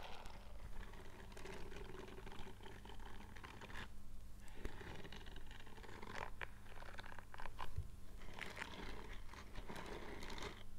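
Bare fingertips with short nails scratch and rub across the bristle-covered palm of a purple silicone scrubbing glove. Quiet, continuous scratchy rustling and soft brushing textures sit over a steady low hum throughout.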